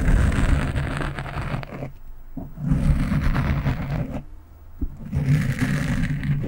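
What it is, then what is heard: Foam microphone windscreen being scratched. Long nails scratch across the top of a black foam windscreen on a microphone, producing dense, low, rumbling scratches with a brighter rasp on top. The scratching comes in bursts broken by two brief, quieter pauses near the second and fourth seconds.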